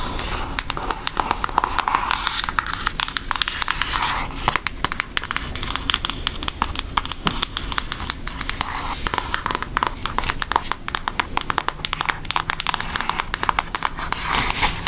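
Long nails tap and scratch the front and edge of a brown Hershey cardboard eyeshadow palette. The result is a steady stream of dense, dry clicks and bright scratchy crackles with no ring, continuing for the whole clip.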